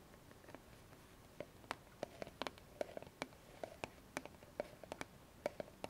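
A small squeezable white plastic cosmetic tube of argan cream, held upright on a foam mat, is tapped and scratched with long fingernails. The result is a quiet run of sharp, dry clicks with a hollow plastic tone near 600 Hz and bright upper edges, separated by faint scratchy rustling.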